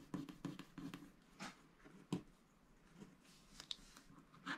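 A wooden stylus scratches the black coating of a flat scratch-art paper sticker sheet with giraffe sticker motifs, lying on a dark mat while the other hand holds the sheet. Quiet, dry scratching strokes come in short, irregular bursts with a brief papery rasp, each stopping with almost no ring.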